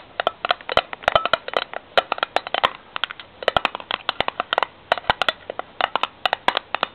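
Long nails tap and scratch the bare ridged steel end of a cylindrical tin can, facing outward. Dozens of short, dry, bright metallic clicks come in quick irregular bursts, with a tinny tone around 670 Hz and almost no ring after each hit. Brief pauses separate the flurries, and a faint scratchy rasp runs between the taps.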